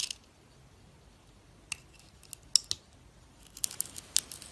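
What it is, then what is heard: Bar soap being scraped. A metal utility knife blade peels and scrapes the pink glitter coating off a solid oval bar of soap with a white core, held in the hand, as shavings fall onto the table. Short, crisp, bright scraping clicks come at irregular intervals over near silence, growing busier toward the end.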